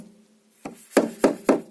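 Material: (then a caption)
Pine wood. A white rubber mallet taps a pine lining board into its groove on a ceiling, giving four short, dull thuds with a quick decay, the last three louder than the first. The dull sound shows the board has seated fully into place along its length.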